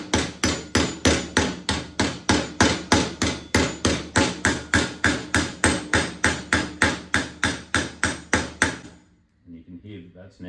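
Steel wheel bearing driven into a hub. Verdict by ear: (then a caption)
Seated. A hammer taps a steel wheel bearing by its outer race into the wheel hub of a 2021 YCF 50A, giving 29 sharp, evenly paced metallic knocks at about 200 per minute. The sound changes as the bearing bottoms out, showing it is fully seated, and a few faint, quieter sounds follow.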